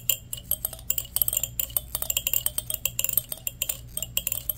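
A fingertip and nail run fast across the teeth of a solid black plastic wide-tooth comb, producing a rapid, uneven stream of sharp, bright clicks with almost no ring. A faint, steady low hum sits underneath.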